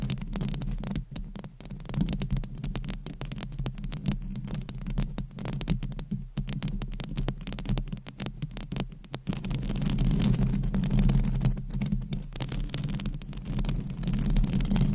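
Long acrylic nails on both hands scratch a bare metal wire-mesh microphone head with no foam cover. The result is a dense, continuous stream of rapid, irregular scratching that comes through as a muffled, throbbing low rumble with a steady hum, with almost no bright content. It grows somewhat louder and fuller in the second half.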